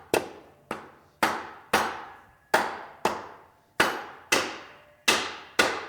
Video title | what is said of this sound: 350 Part 3 | take a dead blow and tap it down. You can hear that it's down.